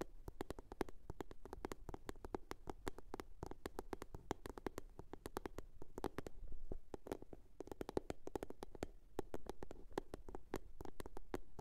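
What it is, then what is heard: Box. A blue box is tapped and scratched with a steady run of quick, sharp taps over a soft scratching rustle. Each tap is short and dry, with almost no ring, and the sound sits mostly in the low range with a hollow tone near 390 Hz.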